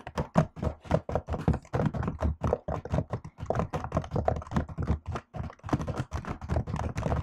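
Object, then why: Laptop keyboard with plastic keys in an aluminium body. Fingertips and long acrylic nails type on a silver laptop keyboard with black plastic keys set in an aluminium body. A steady run of rapid, dull clicks and thunks follows, weighted toward low tones with almost no bright edge. Each tap dies away almost instantly.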